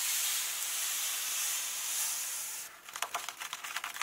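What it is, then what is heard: Paper book pages. Fingertips and nails rub across the text pages of an open hardcover book, making a steady, bright, papery hiss for nearly three seconds. The rubbing then gives way to about nine quick, crisp taps on the paper, each dying away almost at once.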